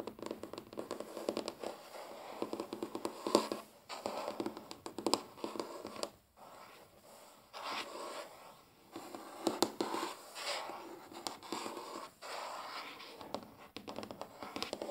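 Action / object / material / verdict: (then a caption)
scrape / wooden tabletop / wood / none. Short fingernails of both hands scratch and tap across a large, flat, solid wooden tabletop. The result is a dense run of dry scratching and quick, crisp clicks, mostly in the midrange with almost no low end, broken by brief quiet pauses.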